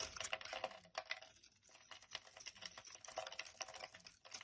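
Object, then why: Bar of soap scraped with a knife blade. A utility knife blade scrapes chunks and flakes off a solid bright yellow Cidal soap bar held in the hand. The result is a quiet run of dense, crisp, crackling scrapes, bright and dry with almost no low end. Brief lulls come around 1.5 seconds and near the end.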